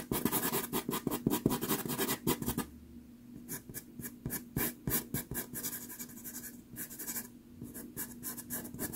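A red pastel pencil tip is stroked and scratched across a small 4.5 inch sheet of sanded Pastelmat pastel card, taped flat and solid to a board, while drawing. The first few seconds bring dense, loud, gritty scratching strokes. These give way to quieter, sparser, irregular strokes over a faint steady low hum.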